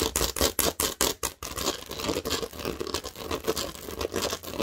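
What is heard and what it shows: Long nails scratch and tap across the studded surface of a large, thin, green plastic Lego baseplate. Quick, bright, raspy strokes come in separate bursts at first, then blur into a steady, irregular scratching with short taps and little ring.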